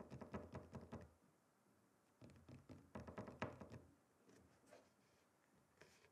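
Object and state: Wooden chopping board.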